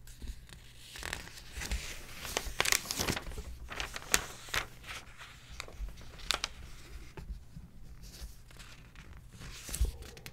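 Fingertips rest on and trace the pages of an open glossy paper magazine, then a hand lifts and turns a thin page. Soft brushing and rustling rise into bright, crisp crinkling bursts, with sharp papery snaps as the page turns, over a faint, steady low hum.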